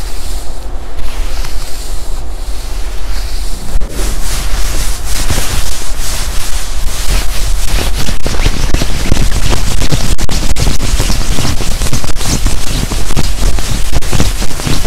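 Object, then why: Quilted nylon puffer jacket. Hands rub the sleeve of a black quilted nylon puffer jacket being worn, then scrunch and scratch the padded chest with fingertips. A soft, steady swishing in the first few seconds gives way to a louder, denser run of crinkling and scratching, heavy in low rumble with a bright fabric hiss on top.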